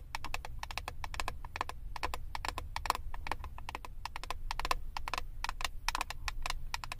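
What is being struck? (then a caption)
Plastic eyeshadow palette case. Long acrylic nails rapidly tap and scratch the clear plastic front lid of a flat, rectangular eyeshadow palette with a hollow compact case. The result is a dense, steady stream of short, dry clicks with a bright edge and a hollow ring near 1 kHz, over a constant low rumble.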